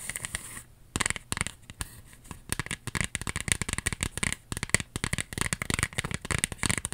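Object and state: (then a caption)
Paper earring display card. A small white cardstock earring display card with a ribbon loop is held up while its flat face is tapped and scratched with long acrylic nails. The result is a dense run of sharp, dry clicks mixed with bright, papery scratching. It comes in quick irregular bursts with no ring.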